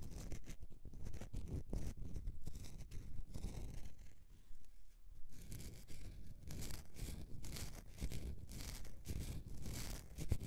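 Fingernails scratch across the scored surface of a solid bar of soap held in the hand. The result is quiet, dense, irregular scratchy rasps with short crackling streaks, the energy sitting mostly low with brief bright bursts.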